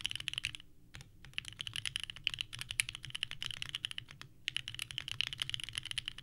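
Both hands type continuously with the fingertips on a small 65% mechanical keyboard with a purple case and white ABS keycaps, resting on a desk mat. Rapid, bright, clacky key presses come in quick bursts, with short pauses near the first second and again after four seconds. Each click is crisp and dies away almost at once.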